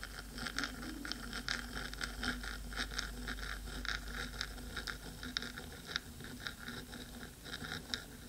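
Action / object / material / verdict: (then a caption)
scrape / metal microphone body / metal / none. Long pointed nails scratch the black metal body of a 3Dio microphone, with a second hand near its ear rim. Quick, irregular, bright scraping strokes tick over a steady low rumble, each dying away almost at once.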